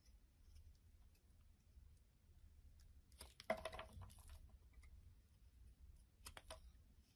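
A solid black soap bar, held in the hand, is cut and shaved into chunks with a utility knife blade. Soft, dry crunching and scraping bursts rise over a quiet low hum, loudest in a dense cluster midway with a sharp snap, then a brief second flurry near the end.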